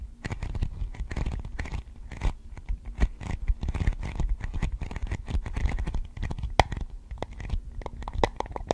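Long acrylic nails tap and scratch a thin, clear, hollow plastic container lid held in both hands in front of a microphone. The result is a rapid, irregular stream of crisp clicks and scratchy rasps with close, thumpy low-end. The short, dry taps die away almost instantly.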